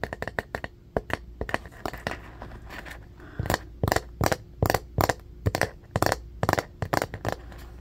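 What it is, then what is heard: Bamboo paddle hairbrush, tapped and scratched. Fingernails scratch and tap the flat, solid wooden back of a striped bamboo paddle hairbrush with black bristles resting on carpet. A fast, irregular run of sharp, dry clicks and brief scratchy bursts, each dying away almost instantly, rises over a faint steady hum.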